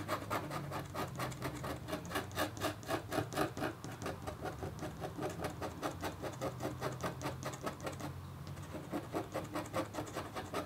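A red-handled, metal-tipped stylus scratches across a flat, black-coated copper foil scratch art board in quick, repeated strokes. Each stroke gives a short, dry, bright scrape over a faint low hum, with a brief lull near the eighth second before the scratching resumes.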